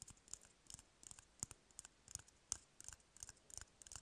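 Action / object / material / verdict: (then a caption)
tap / cardboard toilet paper roll tube / cardboard / none. Fingernails scratch and tap on an empty, hollow cardboard toilet paper roll, making a quick, irregular series of dry, bright clicks and scrapes. Each tap is short with almost no ring, leaving a faint low thump under the crisp high rustle.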